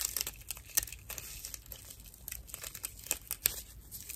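A dry, hand-sized natural loofah sponge of fibrous plant material with hollow chambers inside is held in one hand and scratched and squeezed with long acrylic nails and fingertips. It gives off a quiet, bright, dry crinkling and rasping texture, broken by sharp crackly spikes with almost no ring and little low end.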